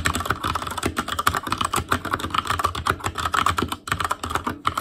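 Fingertips type steadily on an Asus Claymore Core, a backlit mechanical keyboard with plastic keycaps. Rapid, clacky keystrokes with a ringing click around 1.2 kHz and some low thump overlap in a continuous stream, with a brief pause near the end.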